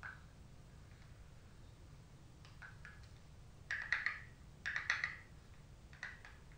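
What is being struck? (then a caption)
Rigid cardboard makeup palette tapped with fingernails. Long stiletto acrylic nails tap the front cover of a gold-finished rigid cardboard Anastasia Glow Kit palette in the Sun Dipped shade, held in both hands. Faint, scattered taps give way to two quick bursts of crisp, clicky tapping with a bright papery tone near 2 kHz that dies away almost at once. A last lighter tap follows over a low, steady background hum.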